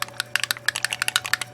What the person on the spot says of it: when you shake it that's the ball so you want to make sure that these are mixed well